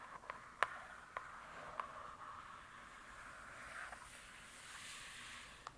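Long nails tap and scratch the glossy cover of a "True Crime" hardcover book. Five short, sharp taps stand out above a quiet, steady scratching hiss that centres around 1 kHz with some brighter high rustle.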